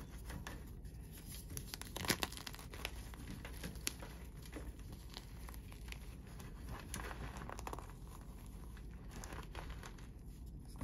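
Bare hands squeeze and crumble broken white chalk chunks sitting in a heap of chalk powder on a tray, with some fingernail contact. The result is a steady, quiet, dry crumbling and crunching with fine crackles throughout. A few sharper snaps stand out, near two and four seconds.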